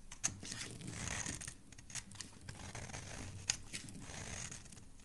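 A solid, rectangular, cream-coloured bar of soap is held in the hand and scraped and shaved with a metal utility blade, producing flakes. Soft, crisp, bright scraping strokes with a dry hiss are heard, along with a low rumble and a couple of sharp clicks.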